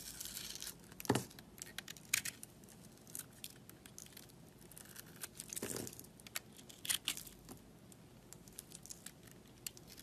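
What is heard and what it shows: A pink soap bar with yellow glitter edges, held with long nails, is cut and scraped with a metal utility knife blade. Bright, crisp crunching and crumbly scraping come in short bursts, with a few louder cuts standing out over a soft, steady rasp.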